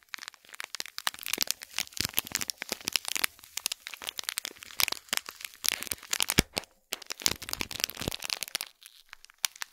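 Long fingernails scratch and tap the shiny gold metallic film wrapping a small hollow cube gift box tied with gold cord, and the hand tilts the box at the end. The result is a dense, bright stream of crisp crackles and crinkles with quick ticking taps and almost no low end, broken by a brief quiet gap just before the seven-second mark.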